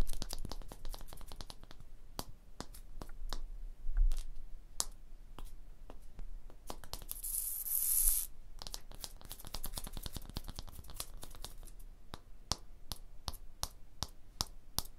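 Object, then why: Limestone block wall tapped with fingernails. Long blue fingernails, with the fingers curled, tap and scratch across the surface of a solid limestone block wall. Many sharp, dry clicks come in an uneven run, each ringing only briefly over a low rumble. Around the middle, a longer bright, hissing scrape stands out.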